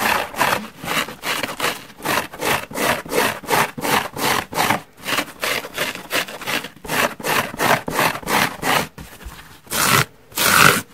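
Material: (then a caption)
Foam. Long nails and fingertips scratch the surface and side edge of a large yellow porous foam car sponge resting on a wooden table. The result is a rapid series of broadband, rasping scrape strokes, roughly 17 short bursts with brief gaps between them. Two louder, longer scrapes come near the end.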